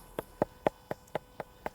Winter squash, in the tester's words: if I tap them it sounds like you're knocking on a wooden door and that means the skin has gone hard